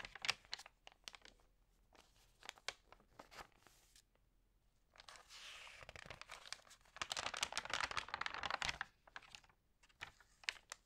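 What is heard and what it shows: Fingertips press and rub the glossy paper pages of a food magazine and turn them one by one. Quick, dry, bright crinkles and ticks are broken by two longer, louder rustling swishes as pages are turned, then the small taps continue.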